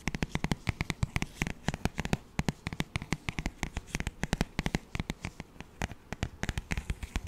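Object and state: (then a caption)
Paperback songbook cover. Fingertips tap and scratch the front cover of a glossy paperback children's songbook held close to the microphone. The result is a rapid, uneven run of around fifty short, dry, crisp taps, each dying away almost instantly, with faint scratching between them.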